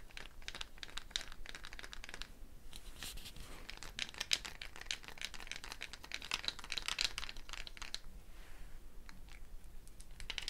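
A hollow dried gourd shaker with a wooden bead net is held by the neck while the beads are shifted and shaken against the shell, with fingers touching the beads. The result is a dense stream of quick, dry, bright clicks and rattles with a crinkly texture and very little ring. The activity briefly thins out at a couple of moments before picking up again.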